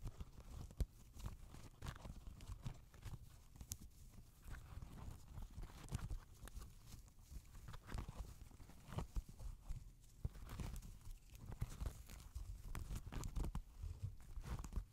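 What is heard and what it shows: Fingertips and nails tap and pluck near the laces and tongue of a grey Adidas NMD knit and rubber sneaker resting on a hand. The quiet, irregular taps are soft and dull, with a deep, muffled low-end thud and almost no ring.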